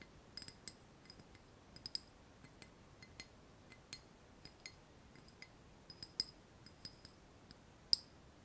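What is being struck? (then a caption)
Ceramic saucer. Fingernails tap irregularly on the upper face of a small white ceramic saucer resting on a palm. Each tap is a short, bright click with a high, glassy ping that dies away almost instantly, one near the end louder than the rest.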